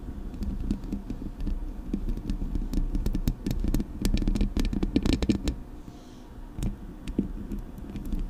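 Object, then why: Metal mesh microphone grille. Long nails tap and scratch both sides of the hollow metal mesh grille on a Blue Yeti microphone. Dense, irregular taps and scraping rustles sound heavy and boomy in the low end, with sharp clicky transients. The activity eases into a quieter stretch near the six-second mark before a few more taps.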